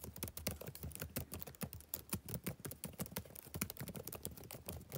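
Fingertips type rapidly on a black plastic backlit laptop keyboard, making a fast, steady patter of short, dry key clicks. Each click has a soft low thump with a bright tick on top and dies away almost at once.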